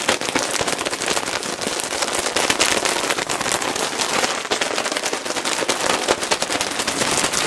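A clear plastic bag full of cotton balls is held against the mic and scratched and tapped with fingertips. It gives a fast, dense, bright crinkling crackle with very little low end, holding a steady level throughout without pause.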